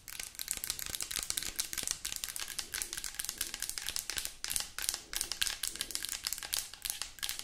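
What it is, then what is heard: Plastic lotion bottle. A mid-sized white plastic lotion bottle with a cap, hollow and probably filled, is tapped and scratched rapidly with long acrylic nails. Dense, bright clicking and crinkly scratching run continuously with very short, dry decay and little low end.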